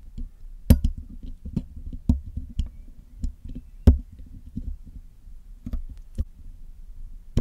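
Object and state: Metal microphone mesh grille.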